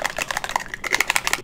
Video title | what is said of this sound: Let's Talk Sunscreen (Best of 2021) | when you shake it up you can hear it kind of rattle around in there